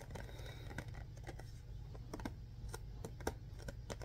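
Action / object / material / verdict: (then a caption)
tap / cardboard box / cardboard / none. A hollow, printed cardboard Mr. Bean DVD box set is held up in both hands and tapped and scratched with the fingertips. Soft, dull taps and brief scratchy clicks sound in a loose, uneven rhythm over a steady low rumble. Each tap dies away almost instantly.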